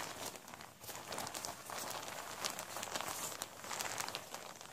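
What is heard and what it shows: Hands in white rubber gloves gather, crumple and scrunch a large, thin, flexible vinyl tablecloth with a blue fish print as it lies flat on a surface, pulling it into folds. A steady, quiet stream of bright crinkling and crackling rises and falls, with almost no low end.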